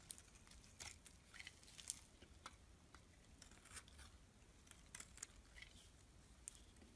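A solid black-and-white striped bar of soap is held in the hand while a metal blade scrapes and shaves its surface. Short, crisp, bright scraping strokes come in an irregular series over a faint low rumble. The cuts are quiet and dry, with almost no ring.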